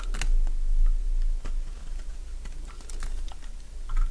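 A metal blade cuts crisp curls along the edge of a solid light-green Fa soap bar held in the hand. Short, dry, bright crunching snaps come at an uneven, fairly quick pace over a low steady hum, each one dying away almost at once.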